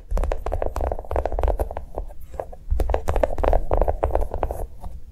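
A small notebook with a brown molded chocolate-bar cover over paper pages, lying on a table, is tapped rapidly with long nails. The taps come in quick, uneven bursts of short, dull clicks with a low thud underneath and almost no ring.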